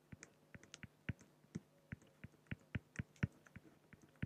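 A fine-tip pen scratches short hatching strokes across a large, flat, solid acrylic sheet. Each stroke makes a brief, dry tap-like scratch with a low thud and a faint bright edge. The strokes fall at an uneven pace of roughly two per second, quiet and with no ring afterward.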